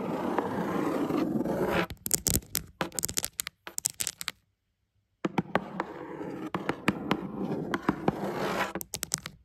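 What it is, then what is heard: Cardboard shoebox. Long acrylic nail tips scratch across a black cardboard shoebox lid with a dry, papery scraping sound, then break into a scattered run of sharp, crisp taps. After a brief silence, the scratching resumes, broken up by more bright clicks on the cardboard.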